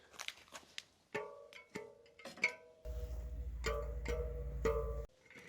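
Steel front wheel spokes on a bicycle are plucked one after another, giving short, bright ringing tones. A steady low rumble runs underneath through the middle of the clip. The spokes sound alike, showing they are tight and evenly, properly tensioned.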